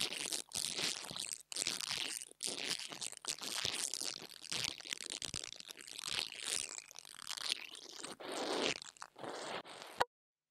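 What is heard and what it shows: An interdental brush scratches the metal grille top of a small black plastic mini lavalier microphone. Dense, bright, crunchy scraping comes in bursts separated by brief silent gaps, with almost no low end. The sound cuts off abruptly just after ten seconds.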